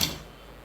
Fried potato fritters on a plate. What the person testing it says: कसला कुरकुरीत आवाज येतोय प्लेटमध्ये टाकल्या टाकल्या